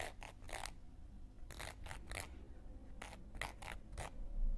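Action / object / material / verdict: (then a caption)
scrape / cork coaster scraped with a wooden knitting needle / cork / none. A round, flat, solid cork coaster held in one hand has its rim and surface scraped and scratched with a thin wooden knitting needle. Short, bright, dry scratching strokes come in small clusters over a quiet, low background rumble.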